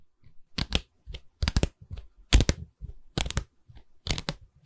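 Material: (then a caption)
Wood. Long red nails tap on the wooden bar of a medium, hollow pine canvas stretcher frame with a stapled canvas back, held at an angle. The taps come in irregular clustered bursts of quick, dry clicks with a low hollow knock and a bright, crackly edge. Each tap stops almost at once, with quiet gaps between the bursts.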